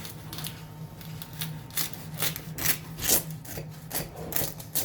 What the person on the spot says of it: C'est bien croustillant, vous entendez?